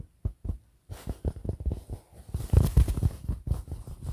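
A printed fabric pillow in front of the mic is scratched and tapped with the fingertips of both hands. Soft, low, muffled thumps come in quick irregular clusters after a few sparse taps, with a faint brushing hiss in between. Each tap dies away almost instantly.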